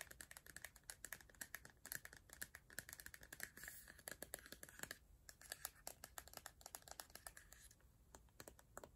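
Long nails tap on a hollow, empty clear plastic body mist bottle with a colourful label and an orange pump top. The result is a quick, continuous run of quiet, dry clicks and ticks with a bright, hollow plastic tone, each tap dying away almost instantly.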